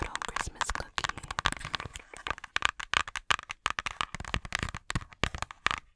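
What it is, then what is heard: Cardboard board book tapped and scratched. Long nails tap and scratch the thick cardboard cover of a small children's board book, "Christmas Cookie," held upright close to the microphone. A rapid, irregular stream of short, dry, crackly taps and scratches with a bright edge rings out, each one dying away almost instantly with brief pauses between bursts.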